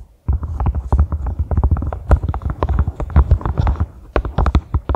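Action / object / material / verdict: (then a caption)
tap / silicone collapsible funnel / silicone / none. Long manicured fingernails grip the ridged sides of a small, hollow, empty pink silicone collapsible funnel standing upright on a grey carpet and tap it rapidly. The taps make a dense run of soft, dull, low thuds with a faint click on top, each dying away almost at once, like muffled hoofbeats.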